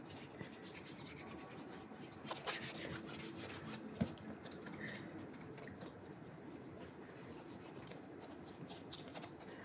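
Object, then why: Leather dress shoe. A burgundy leather dress shoe fitted with a shoe tree is held up and polished with an orange cloth wrapped on the fingers. The result is a steady, soft rubbing and swishing with bright, brushy streaks, plus a few sharper ticks around the two- and four-second marks.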